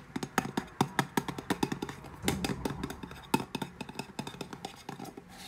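A small, closed round metal tin with a green "WATER" label is held in both hands while long painted nails tap and scratch its lid and sides. Quick, dry metallic ticks come in a rapid, uneven run with a soft scraping texture between them, each tap ringing only briefly.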